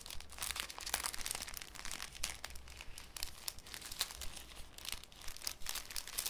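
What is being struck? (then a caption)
Thin cellophane sheet. A thin, clear cellophane sheet is handled with fingertips, crinkled and folded over a wooden table. Dense, bright crackling and crinkling comes in quick, short bursts throughout, over a steady low rumble underneath.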